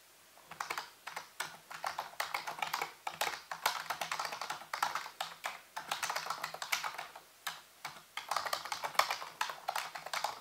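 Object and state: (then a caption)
Plastic computer keyboard being typed on. Fingertips and nails type on the keys of a full-size black plastic computer keyboard with a hollow housing. Rapid, bright, clicky taps come in bursts separated by brief pauses. Each tap dies away almost instantly, with little low end.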